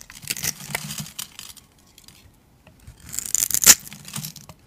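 A metal utility blade carves the scored surface of a solid, rounded, palm-sized cream bar of soap held in the hand, shaving off small soap cubes. Bright, crisp scraping and crackling bursts come in two clusters separated by a short quiet gap, with the sharpest crunch near the end.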